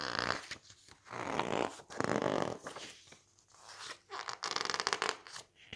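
Fingertips grip, squeeze, rub and turn the thick glossy pages of an open softcover book, like a glossy magazine. The sound comes in swelling bursts of crisp, bright crinkling and rustling, separated by short quiet gaps, with brittle crackles and no low rumble.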